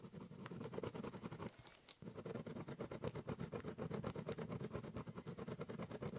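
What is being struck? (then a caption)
Corrugated cardboard box. A ballpoint pen draws quick lines across the top surface of a large, hollow brown corrugated cardboard box, scribbling and cross-hatching. It makes a rapid train of dry, scratchy strokes with a low, hollow resonance and a faint bright edge. There is a brief pause near the two-second mark before the steady stroking resumes.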